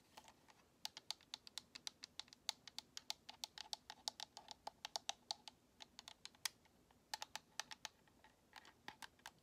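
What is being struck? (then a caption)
Plastic game controller. Long nails tap the top edge and bumpers of a white hollow plastic Xbox controller close up, making some 48 quick, dry, bright clicks over about nine and a half seconds. The taps come in an uneven, rapid rhythm with no ring after each click, over a faint background hiss.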